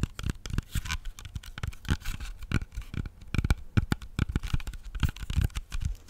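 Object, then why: Whole apple. Fingertips and nails tap and scratch the skin of a whole, solid red-yellow apple. A quick, irregular run of short, dull, low thumps is heard, mixed with brief bright scratchy rasps that die away almost instantly.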